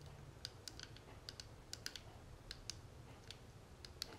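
Long natural nails tap and scratch the edges and face of a small, closed, hollow gold-tone metal cigarette case with a tortoiseshell-pattern panel, held in the hands. About 15 quick, sharp, bright clicks ring out and stop at once, spaced unevenly over a soft scratchy hiss and a low rumble underneath.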